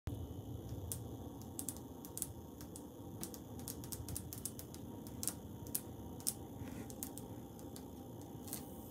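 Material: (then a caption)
Ceramic. Fingers tap, scratch and trace lines on tiles on a wall. Short, bright clicks and scrapes stand out at irregular moments over a steady, low, rumbling background hiss, each one dying away almost instantly.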